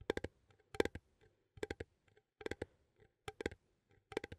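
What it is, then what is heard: Metal coffee tin. Fingernails click and tap the lid rim of a small cylindrical metal coffee tin held close to the microphone. Quick bright metallic clicks with a slight tinny ring near 430 Hz arrive in six short clusters of three or four taps, separated by brief pauses. Each tap dies out almost instantly.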